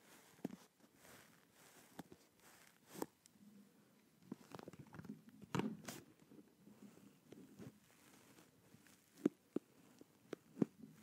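Fingertips and nails tap and scratch the earcup shells and headband of a black and blue over-ear plastic gaming headset held with both hands around the microphone. Soft, quiet clicks and brief scratchy rubbing sit mostly in the low-mid range, with a few sharper, brighter taps standing out irregularly throughout.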